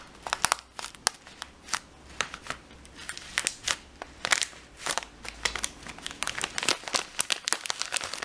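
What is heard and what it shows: Fingers pinch and crinkle the sealed edge of a full plastic bag of dried lentils and squeeze the lentils inside. The result is a quick string of sharp, bright crinkles and crackles over a quiet background, with a light rattle of lentils shifting between the snaps.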